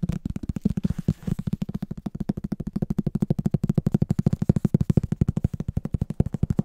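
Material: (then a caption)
Cardboard. Fingertips tap and scratch the back cover of a solid, medium green hardcover book. About 53 rapid, dull, low-pitched taps come in an uneven stream, each dry and short with no ringing.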